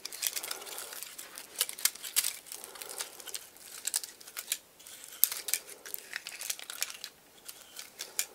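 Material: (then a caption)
Wood. A medium-sized dry pine cone with white-painted scale tips is held in one hand while fingertips and nails scratch and flick across its woody scales. The result is a dense run of crisp, bright crackles and ticks with almost no low end, each snap dying away instantly.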